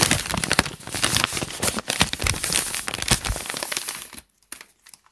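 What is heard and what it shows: Fingertips scratch and crinkle the wrinkled lined white pages of a thick open paper notebook, lifting and crumpling some of the pages. A dense, bright, continuous crackling and rustling with sharp snaps runs for about four seconds, then stops abruptly, leaving a few faint isolated crackles in near silence.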